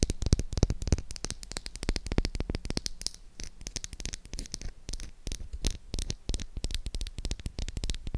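Long acrylic nails tap and scratch the flat face of a solid pink oval bar of soap held up close. The result is a rapid, uneven patter of short, sharp clicks with a heavy low thump beneath each one, mixed with bright, dry scratching that fills the gaps and never lets any tap ring out.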